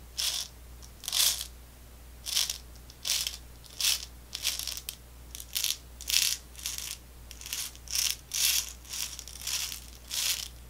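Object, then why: Small plastic tube of candy balls. A small clear plastic tube with a white cap, full of small round orange candy balls, is held in the hands, tapped with long nails and tilted and shaken so the candy rattles inside. Repeated short bursts of bright, crisp rattling and clicking stand out against a quiet background with a faint steady low hum.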